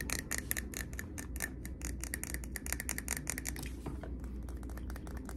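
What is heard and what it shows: A medium glass jar candle filled with solid cream wax, lid on, is held close and tapped quickly with fingernails on its glass body. The result is a rapid, continuous stream of short, bright glassy clicks with crisp high-end snap over a steady low rumble.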